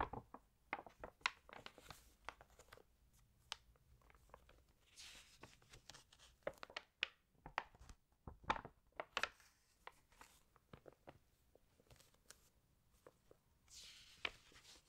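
Long nails tap and click crisply against an open glossy paper fashion magazine as hands rest on and smooth the spread and turn its pages. A quiet string of sharp, bright ticks is broken by soft, airy paper swishes around five and fourteen seconds.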